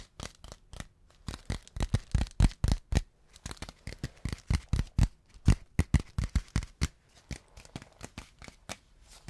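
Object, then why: Beeswax-coated cotton wrap. Fingertips tap and crinkle a thin, flat, stiff sheet of yellow beeswax-coated cotton food wrap held in front of the microphone. About 37 short, dry taps come at an uneven pace of roughly two per second, each with a soft low thump and a bright papery crackle that dies away almost at once.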